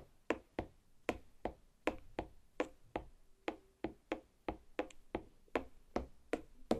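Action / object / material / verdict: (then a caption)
tap / watermelon half tapped with fingernails / watermelon rind / none. Long black nail tips lightly tap a large, solid watermelon half resting on a plate, making 19 short, separate taps. Each tap is a quick, dull knock with a brief click on top that dies away almost at once.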